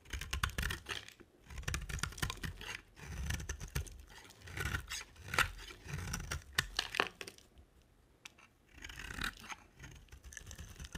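A box-cutter blade scrapes and carves a dry, solid rectangular cream soap bar with a black coated rim. Bursts of short, crisp scraping strokes give a dry, crackling, bright texture over a soft low rustle, with brief quiet pauses between passes.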